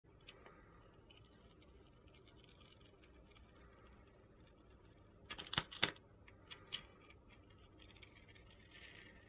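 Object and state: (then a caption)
Glitter-coated soap bar being shaved. A steel utility knife blade shaves and scrapes thin slices from a hand-sized, solid rectangular bar of soap with a purple glitter coating and a white interior, held in the hand. Soft, bright, gritty scraping and crisp crunchy ticks play over a quiet background, rising to a louder cluster of sharp scrapes in the middle before settling back to faint scratching.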